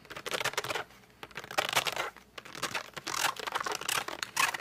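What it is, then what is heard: Cardboard colored pencil box. Fingertips and short nails grip and rub the glossy front of a flat cardboard colored pencil box lying down. Bright, scratchy rubbing and squeaky gripping sounds come in short bursts separated by brief quiet pauses.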